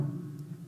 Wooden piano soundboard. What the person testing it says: it vibrates really well that's what it's meant to do